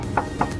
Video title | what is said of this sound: Wajib Tau!!Tanda2 mobil bekas Tabrakan!!!! | ini masih kaleng banget. Masih kaleng